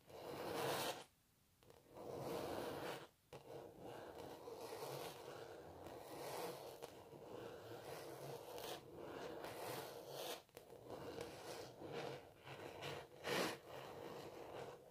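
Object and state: Textured canvas painting scratched with nails.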